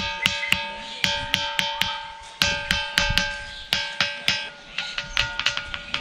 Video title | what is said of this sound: Trip To Mainpat - a little Tibet in Chattisgarh | এই পাথরটিতে অন্য কোন পাথরের টুকরো দিয়ে আঘাত করলে ধাতব আওয়াজ হয় অথচ আশেপাশে পড়ে থাকা কোন পাথরই এরকম হয় না